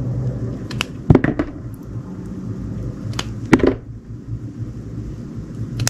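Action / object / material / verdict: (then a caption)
scrape / glycerin soap bar cut with a knife / glycerin soap / none. A metal utility knife cuts and shaves a solid, ridged, white translucent donut-shaped glycerin soap bar held in the hand. Soft, dull cutting and scraping sounds come in short bursts with brief crisp edges, over a steady low hum.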